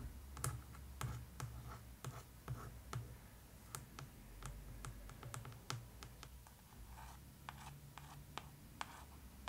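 Long acrylic nails and fingertips tap and trace the glossy, embossed paper-over-board cover of a large, solid, closed "Tales of Deltora" hardcover book held on a table and then lifted. A quick, irregular series of dry, sharp clicks and taps with brief scratchy strokes, each dying away almost at once, sits over a steady low hum.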